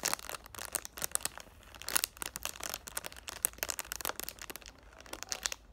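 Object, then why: Cardboard box in plastic film wrap. Short painted black nails tap on a hand-sized, hollow, rectangular cardboard "thank u, next" perfume box, held in both hands and still sealed in clear plastic cellophane wrap, crinkling the wrap. The result is a rapid, irregular run of dry, bright clicks and crisp plastic crackles with almost no low end and no ring after each tap.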